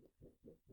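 A sheet of thicker, stiffer white cardstock is waved through the air for comparison with a thinner sheet, giving soft, low whooshing swells as it sways without curling. The waving is a rough way to judge how thick the paper is.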